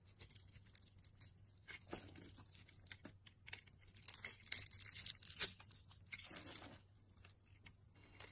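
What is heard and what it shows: A utility knife blade slices grid-scored cubes off the surface of a solid, dry green bar of soap held in the hand. Quiet, bright crisp scraping and crumbling crackles come in a rapid series of short strokes, with a faint low hum beneath.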